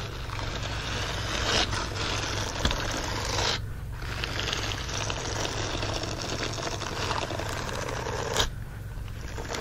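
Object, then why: Silicone scrubbing glove with bristled palm. A green silicone scrubbing glove, empty and lying flat, is rubbed and scratched across its bristled palm area. The result is a steady, dense, bristly scratching texture over a low hum, with brief pauses and a few sharper clicks.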